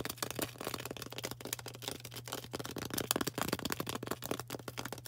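A solid, rectangular green floral foam brick, held in the hand, is tapped and scratched rapidly with long orange acrylic nails. The result is a dense run of dry, crackly clicks and scrapes with a bright edge, each dying away almost instantly, over a faint steady low hum.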